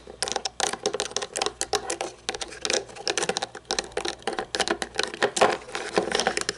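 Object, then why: Plastic toy monster truck. Long painted nails rapidly tap and scratch the wheels and underside of a small toy monster truck lying upside down, with a red painted body, chrome plastic chassis and black plastic tires. The result is a dense, steady stream of crisp, bright plastic clicks and scrapes with very short decay and almost no low end.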